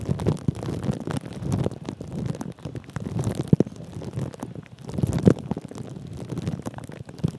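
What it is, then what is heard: Plastic cling film crinkled over a microphone. Fingertips of both hands rub and press clear plastic cling film wrapped around a metal mesh microphone head, making a steady, close, muffled crinkling and scratching. The sound is dense and low-heavy, with a few sharper crackles standing out around the middle and later part of the clip.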